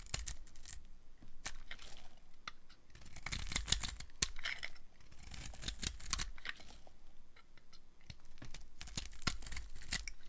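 A metal blade carves curls off the end of a red-and-pink striped solid dry soap bar held in hand. The result is a run of crisp, dry scraping and crackling strokes with bright, brittle edges over a soft low rumble. Each cut dies away almost instantly.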